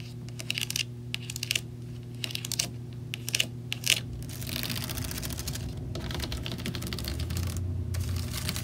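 Long nails tap and scratch the logo plate and bars on the front grille of a white plastic box fan with a hollow frame. Bright, sharp plastic clicks come first, then give way to a continuous dry scratching. A steady low hum sits underneath throughout.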